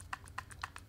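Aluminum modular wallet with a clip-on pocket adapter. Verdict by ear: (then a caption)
Loose. A Dango A10 Adapt all-aluminum modular wallet is shaken with a pocket adapter attached, and the adapter shifts on its rail, giving seven quick, dry clicking rattles with bright upper content. The noisy, loose fit is a flaw, as the pockets should sit tighter to the main unit.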